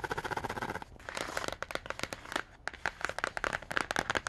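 A quick run of sharp, dry clicks and short scrapes with no sustain, centred high around the upper midrange. Nails tapping and scratching a glossy cardboard book cover give this crisp, papery tick that dies instantly in the stiff board. A small room is faintly audible.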